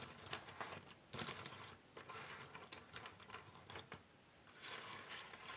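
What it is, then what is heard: Cardboard jigsaw puzzle pieces. A loose pile of small, thin cardboard jigsaw puzzle pieces on a wooden table is spread and rubbed by both hands with long nails. The result is a dry, bright shuffling and clicking of pieces sliding and tapping against each other, with quieter rustling in between.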